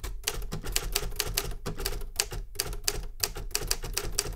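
Fingertips type on a Remington Super Riter metal manual typewriter with paper in the carriage, producing a quick, uneven run of about seventeen sharp keystrokes. Each strike is a bright metallic clack over a low mechanical thump and dies away almost instantly.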